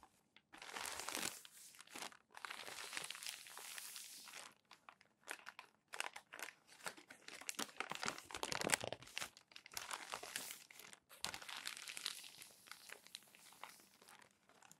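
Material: Paper.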